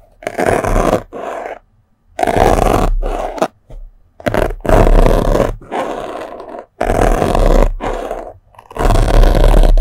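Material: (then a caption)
Melamine foam. A thin metal sewing pin pokes and scratches into a small white block of melamine foam sponge held by the fingers. Heard close up as dull, raspy scraping bursts with a low, rough rumble, the strokes coming in uneven runs separated by short silences.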